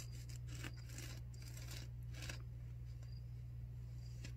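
A white disposable pleated non-woven paper surgical face mask, worn on the face, is scratched with long nails and fingertips. Soft, dry scratching strokes come in irregular bright bursts over a steady low hum. The level stays quiet and even throughout.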